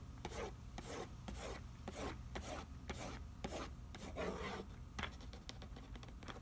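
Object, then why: Printed cardboard food box. Fingertips rub back and forth across the printed nutrition facts panel on the back of a cardboard macaroni and cheese box lying on newspaper. Each stroke makes a dry, papery scraping whoosh that rises into bright hiss, over a steady low hum, and the strokes run in a quick, fairly even rhythm, quickening toward the end.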